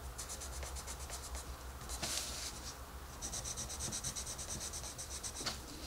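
A wooden colored pencil scratches and rubs across a paper coloring book page in dense, quick coloring strokes, producing a rapid train of bright, raspy scrapes. A brief pause comes just before the middle, then the fast strokes resume. A steady low hum runs underneath throughout.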